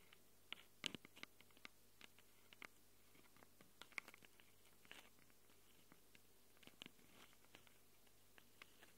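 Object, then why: Handheld recorder with metal mic capsules, tapped by long nails. Long glitter nails tap and scratch the metal-ringed mic capsules of a small black handheld Tascam recorder. Quiet, sharp, bright clicks and short scratches come at irregular moments over a faint steady low hum, each dying away almost instantly.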